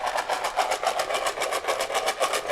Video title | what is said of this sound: Kidstock! @Home with arx duo | it sounds a little bit like that a little low